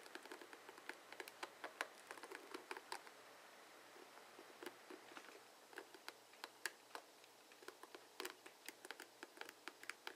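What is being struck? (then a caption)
Plastic paddle hairbrush with bristle pins. Fingertips flick and scratch the plastic pins on the cushioned head of a dark blue plastic paddle hairbrush with bristles, held over a wooden table. The result is a quiet stream of sharp, bright clicks and ticks that die away almost instantly, dense at first and then more spaced out, over a faint steady low hum.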